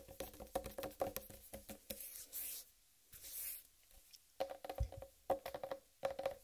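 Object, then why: Whole watermelon. Long red acrylic nails tap and scratch a large, solid, whole uncut watermelon with a striped green rind resting on a dark surface. Quick bursts of taps give a short, hollow knock with a tonal ring around 540 Hz. In the middle the tapping pauses for two bright, hissy scratching strokes before the rapid tapping resumes.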